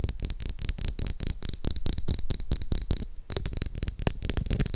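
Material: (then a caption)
Plastic. Long acrylic nails tap and scratch rapidly on the back and bristles of a pink translucent plastic glitter hairbrush held close to a microphone. The result is a dense run of short, dry taps with a heavy low thump and crisp, bright clicking on top, broken by a brief pause about three seconds in.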